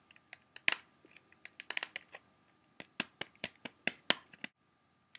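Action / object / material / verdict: tap / plastic CD jewel case / plastic / none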